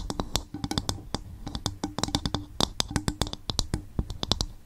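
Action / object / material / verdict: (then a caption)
tap / coconut shell bowl / coconut shell / none. Long fingernails tap and scratch an upturned, hollow, empty coconut shell bowl. A quick, uneven run of dry clicking taps has a low hollow body and bright, crisp tops, with each hit dying away almost at once, and soft scratching fills the gaps between taps.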